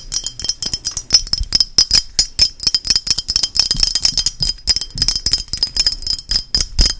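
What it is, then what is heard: Ceramic lighthouse figurine. A small, hand-sized painted lighthouse figurine, likely ceramic, is tapped and scratched quickly and hard with long nails. The result is a dense run of sharp, bright clicks and clinks with a thin, glassy ring and scratchy rasps between them. Each tap dies away almost at once.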